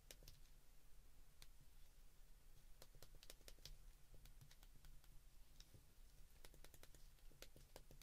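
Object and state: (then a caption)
Plastic flip phone keypad. Fingertips press the keys of a white plastic flip phone keypad, producing distinct, bright, short clicks in irregular bursts. A steady low hum sits underneath the quiet clicking.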